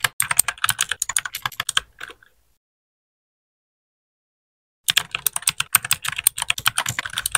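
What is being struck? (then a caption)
Plastic mechanical keyboard. Fingertips of both hands type on a compact white RGB-backlit mechanical keyboard with plastic keycaps, producing steady, bright, clicky key taps with almost no low end. The rapid taps stop for about two and a half seconds of silence, then resume at the same pace until the end.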